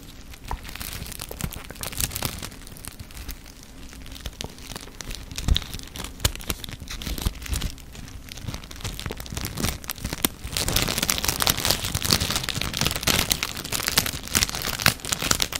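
A small silver foil sachet is held close to the microphone and crinkled and rubbed between the fingers, making dense, bright crackling with many sharp snaps over a low rumble. The crinkling stays fairly soft for about ten seconds, then grows louder and brighter for the rest of the clip.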